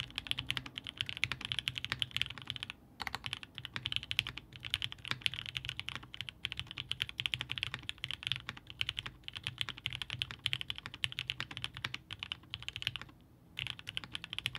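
A Haus 65% mechanical keyboard by Hand Engineering, with a blue-grey aluminum case, Gummy Worm mount, polycarbonate plate, 8008 Ink linear switches and GMK DMG ABS keycaps, sits on a desk mat and is typed on steadily with the fingertips of both hands, bottoming out the keys. The result is a dense run of short, bright clacks centered near 2.9 kHz with a soft low thock underneath, broken by brief pauses around 3 and 13.5 seconds.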